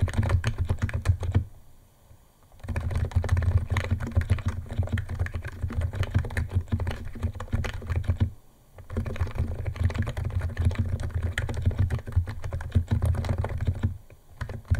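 Fingertips of both hands type fast on a white compact 68-key Niz ATOM 68 keyboard with electro-capacitive switches, white plastic keycaps and a plastic case, resting on a wooden desk. Rapid, dense streams of short, crisp key clicks are heard over a steady low hum. The typing breaks off in brief pauses near 2 seconds, 8.5 seconds and at the end.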